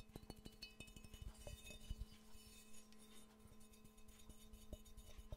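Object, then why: Ceramic mug. A hollow, empty yellow ceramic Pikachu mug with ears and a handle is tapped repeatedly with the fingernails. The quiet, rapid taps give short clinking rings with faint bright overtones over dull, low knocks, and a steady low hum sits underneath.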